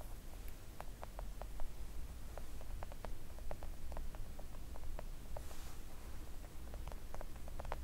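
Long acrylic nail tips, fingers splayed, tap gently on a flat, thin, solid pink silicone nail art mat. The result is a steady patter of short, dry clicks with almost no ring, over a low, constant rumble, with a brief bright hiss midway through.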